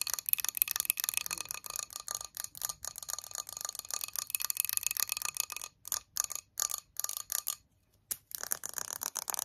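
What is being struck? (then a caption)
Small glass jar filled with wax. A small clear glass jar filled with candle wax and decorated with a flower is held in both hands and tapped rapidly with long yellow nails on its sides and base. The result is a dense, fast, irregular stream of bright, high, glassy clicks with almost no ring and no low end. Near the end the taps break into short separated bursts, with a brief silence before a final flurry.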